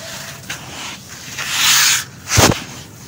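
Bare fingertips and a palm dig into coarse, damp tan sand in a white plastic bucket, squeezing the wet clumps so they crumble and rub apart. A bright, gritty rustle builds into a sustained crunchy hiss, then a short, sharp crunch stands out before fading to quiet scraping.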